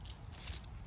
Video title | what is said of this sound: SEPT GARDEN TOUR 2022 Finally a new video :) | listen to how crispy it is